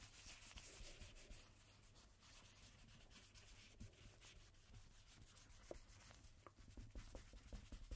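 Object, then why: Coated paper playing card rubbed with a cotton swab. A cotton swab held in a red-gloved hand rubs across a single thin coated-cardstock playing card with a black Jack Daniel's back, lying flat on a table. A soft, dry, scratchy swishing runs steadily with a low rumble underneath, broken by a few quick light ticks toward the end.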